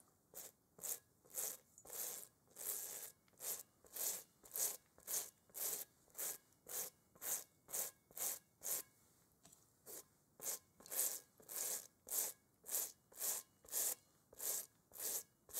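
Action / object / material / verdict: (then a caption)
scrape / textured rubber playground ball / rubber / none. A gloved hand scrubs a large, hollow, textured rubber kickball with a toothbrush while holding it over a bowl. About thirty quiet, bright, hissy bristle strokes repeat at a steady back-and-forth pace of roughly two per second, with a brief lull just before the ten-second mark. Each stroke is dry and raspy, with no low-end body and almost no lingering ring.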